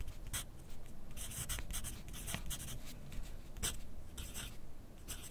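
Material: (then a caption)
Paper. A graphite pencil tip scratches across a thin lined paper sheet held on a clipboard on a desk as someone writes steadily. Short, bright, dry scratching strokes come in quick bursts over a constant low rumble.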